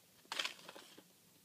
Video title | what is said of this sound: Cryocooler Air Liquefier | sounds like some stuff is sloshing around in there so I think we have liquefied something